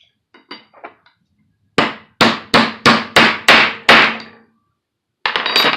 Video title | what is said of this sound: Assembly of a CV head yoke | when the other cap hit the table and I hit it and a real solid hit. That sealed it